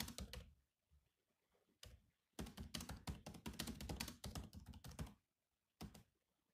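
Fingertips of both hands type on the black plastic keys of a silver laptop keyboard. Quick, clicky key taps come in uneven bursts separated by brief pauses, each tap a dull low thud with a bright click on top that dies away almost at once.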